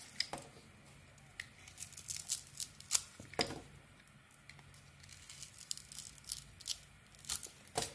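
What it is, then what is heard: Bar of soap being carved. A metal knife blade carves into a solid hand-sized bar of soap with an embossed gold coating and a white interior, shaving and scraping it. The clip is quiet and made of short, crisp, bright scraping strokes with a dry crackling texture and almost no low end.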